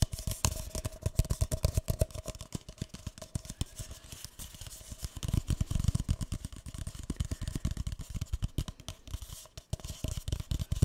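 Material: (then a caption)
Paper. A single empty, hollow, light green speckled paper cup is tapped and scratched on its side and base with fingertips and nails. Rapid, dry, hollow taps with soft low thumps mix with light scratching in a steady, irregular flurry throughout, each hit ending almost instantly.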